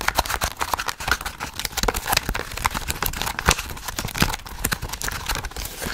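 Long nails rapidly tap and scratch the glossy card back cover of a small, solid paperback book held in the hand. The result is a dense run of sharp, dry clicks mixed with brushing scratches, each tap dying away almost instantly.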